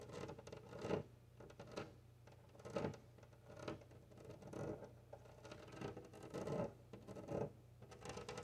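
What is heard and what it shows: Long nails tap and scratch across a large flat glass window pane set in a wooden frame, and fingertips press flat against the glass. The sound comes as quiet, irregular bursts of short scraping, tapping and squeaking, with a faint steady low hum underneath.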